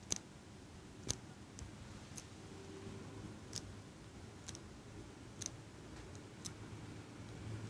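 A small metal eyelash curler held close to the microphone is squeezed open and shut by fingers with long nails. About ten sharp, bright metallic clicks sound at an uneven pace, each dying out almost instantly over a quiet low rumble.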